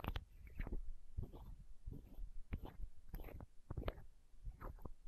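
A small, hollow, clear plastic eye drop bottle is held against the microphone while long nails scratch and tap it. The result is a string of quick, dull, low knocks mixed with short scratchy rasps, each dying away almost at once.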